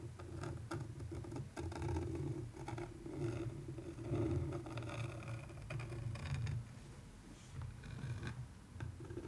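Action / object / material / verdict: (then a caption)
scrape / framed canvas print scratched with a wooden stick / canvas / none. A wooden stick scratches and traces along the surface of a framed canvas art print, close up. The sound is a low, dry rasping and scraping with soft tapping, steady and continuous throughout.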